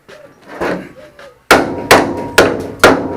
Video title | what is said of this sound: Ford Falcon Resto Mod 3 | Now it sounds solid.